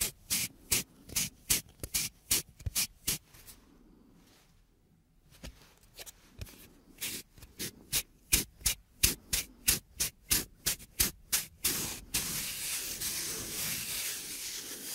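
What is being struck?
Thin plywood plate.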